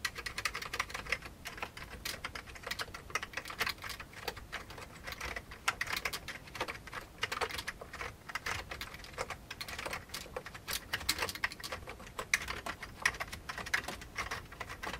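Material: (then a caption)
Plastic. Fingertips of both hands type fast on the keys of a full-size old beige plastic computer keyboard with a hollow plastic case. A steady run of quick, bright, dry clicks and clacks follows, with short bursts of keystrokes over a light low thump.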